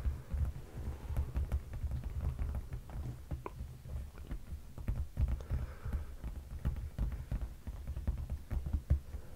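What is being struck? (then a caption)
Padded leather sofa seat. Both hands tap their fingertips on the dark padded leather seat of a sofa cushion. The result is a steady patter of soft, muffled, deep thuds with a low hum underneath, each tap dying away almost at once.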